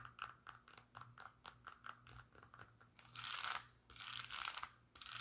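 A brown Birkenstock sandal with suede straps and a cork footbed is held in the hand while long pink nails scratch its strap. Quick, irregular dry scratchy ticks come first, then two longer bright, rasping scrapes build and fade before a few more scratches close the clip.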